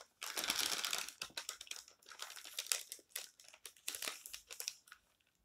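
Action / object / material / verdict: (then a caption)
scrape / thin paper magazine pages / paper / none. Spread fingers and palms rub and crumple the pages of an open, thin paper tabloid magazine lying flat, then a page is turned. A sustained, bright rustle gives way to irregular bursts of sharp crinkling and crackling with almost no low end, fading out near the end.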